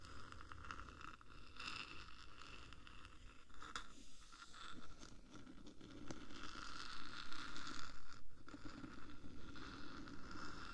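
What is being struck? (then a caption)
Metal microphone case. Long painted nails of both hands tap and scratch along the top of the black, hollow, palm-sized metal body of a 3Dio binaural microphone. A dense, uneven run of scratchy rasps and quick taps carries a steady metallic ring near 1.4 kHz over a low rumble, with bright scraping growing louder in the second half.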